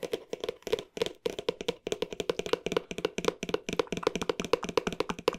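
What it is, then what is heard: Cardboard box. A hollow green cardboard box with dark edges, held close to the mic, is tapped quickly with the fingertips. About 34 fast, dry taps land in uneven bursts, each with a hollow, boxy tone around 470 Hz, a bright papery click on top and almost no ring.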